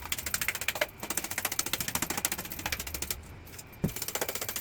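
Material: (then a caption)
Cement plaster. Rapid, even taps along a cement plaster render coat on a brick wall give about nineteen short, dry, hollow knocks with a papery rattle and almost no ring. The hollow sound shows the plaster is delaminating and not properly bonded to the brick, a fault put down to a missing scratch coat. It needs to be removed and redone, since tile or porcelain laid over it could fall off.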